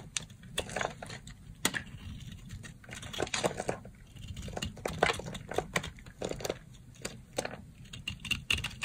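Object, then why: Bar of soap. A yellow box-cutter blade carves flakes from the surface of a dry, solid rectangular pink soap bar held in the hand. It makes a rapid run of crisp, bright scraping and crackling strokes with a short, dry decay over a faint low rumble.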